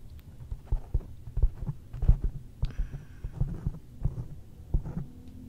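Fingertips and long nails tap on a black foam windscreen over a microphone. About thirteen soft, dull thumps land at an irregular pace, each one deep and muffled with almost no ring. A low hum sits underneath throughout.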